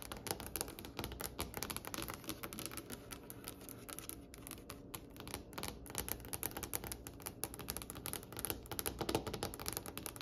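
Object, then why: Polished wooden tabletop. Long pointed acrylic nail tips tap rapidly with both hands on a large, solid, polished wooden tabletop with a glossy reddish-brown finish. The result is a dense, continuous patter of sharp, bright clicks, each dying away almost instantly, over a soft low wooden knock.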